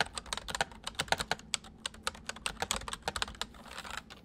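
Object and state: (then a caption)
Plastic mechanical keyboard. Fingertips type on a full-size white plastic mechanical keyboard with white keycaps resting on a wooden desk, with the right hand moving over to the numpad. About two dozen short, crisp clacks come in quick, uneven succession, each bright and snappy with almost no ring. Near the end the keystrokes soften into a faint, denser patter.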